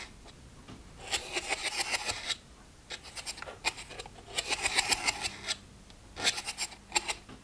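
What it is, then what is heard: Plastic pill organizer. Fingernails scratch and tap the lids and rims of a plastic weekly pill box, one row of its compartments open and empty. Three bursts of bright, dry scratching are heard, with light clicking taps mixed in, separated by short quiet gaps.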